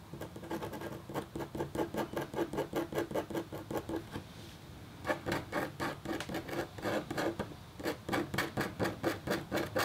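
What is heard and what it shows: A red-handled, metal-tipped stylus makes rapid, short scratches across a flat, black-coated copper foil scratch art sheet. The result is a dense run of dry, rasping strokes with bright, high edges. The strokes pause briefly around the middle before resuming in quick succession.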